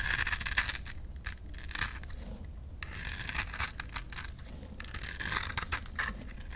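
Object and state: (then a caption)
Glycerin soap bar being carved. A utility knife blade carves and scrapes yellow shavings from a small, solid, translucent orange-amber glycerin soap bar held in the hand. The result is a run of crisp, bright scraping and crackling strokes with little low end, loudest at the start and then settling into softer, steady scrapes.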